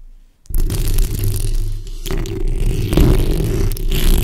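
Long red acrylic nails scratch continuously across the front and sides of the hollow steel mesh grille on a black condenser microphone, using the backs of the nails. After a short quiet start, the scratching comes through as a dense, boomy rumble with a low, grainy texture and only faint bright crackle on top, swelling and easing for the rest of the clip.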